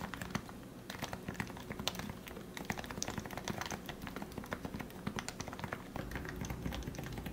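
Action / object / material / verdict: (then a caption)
tap / plastic Topre keyboard / plastic / none. Both hands type steadily with their fingertips on a plastic Leopold FC660C Topre keyboard with lubricated 45 g switches. The result is a quick, continuous patter of short, muffled keystrokes with brighter ticks on top, over a steady low rumble.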